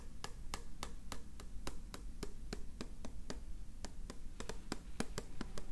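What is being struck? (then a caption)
Small clear plastic tube holding pencils. A small clear plastic cylindrical tube with a recycled-paper base, filled with twig pencils, is held in one hand while the fingertips of the other hand tap its plastic wall. Short, dry, bright clicks repeat in a steady rhythm over a constant low background rumble, each tap dying away almost instantly.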